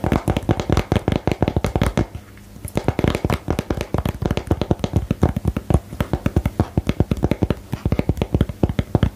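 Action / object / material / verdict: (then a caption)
tap / small lidded cardboard box / cardboard / none. Fingernails tap on the surface of a small, hollow, lidded printed cardboard box for the card game "Geheimakte," held in the hands. Dense, rapid, dry taps with a low, hollow thump run nearly continuously, pausing briefly around the two-second mark before resuming at a steady, quick pace.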